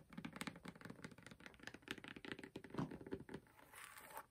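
Long purple fingernails scratch and tap across the textured, patterned grey rubber outsole of a Demonia platform boot held up in the air. The result is a quick run of dry, clicky taps with a dull low-mid body, mixed with scratchy rasps. It ends in a softer, brighter scraping hiss.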